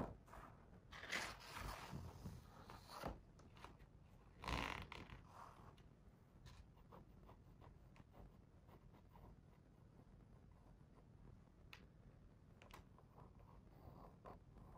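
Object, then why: Paper page of a hardcover book. A fingertip traces along the printed paper page of a large open hardcover picture book, on the spread with the cat illustration. Quick, dry, zipper-like scratchy strokes come in short bursts in the first few seconds, then settle into a quieter, steady soft rubbing with faint scattered ticks.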